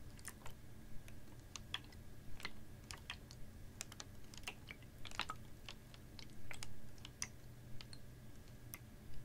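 A clear, ribbed PET water bottle, capped and about half full of water, is tilted and tapped with fingernails. Quick, bright, dry clicks come in an uneven stream over a low, steady background hum, with a brief swell of water movement partway through.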